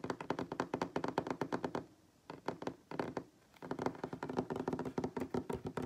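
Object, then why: Wooden tabletop. Fingertips and short nails of both hands tap rapidly on a solid wooden tabletop, making quick, dry, short knocks with a woody tone around 390 Hz. The tapping comes in dense bursts broken by two brief pauses, then resumes at full pace to the end.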